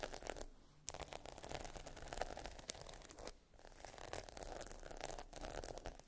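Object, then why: Plastic pearl sticker sheet. A sheet of small plastic pearl stickers arranged in a grid on a black backing is scratched and tapped across the beads with long nails. The result is dense, crackly scratching and quick clicky taps that run in bursts, broken by two brief pauses.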